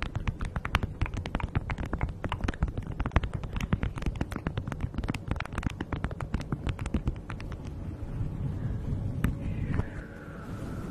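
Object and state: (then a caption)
Beeswax food wrap. Hands with long nails crinkle and rub a thin beeswax-coated fabric food wrap laid over a fluffy microphone windscreen. Dense, rapid crackles ride over a heavy, muffled low rumble. Near the end the crackling thins into a softer, steadier rubbing with a faint squeaky tone.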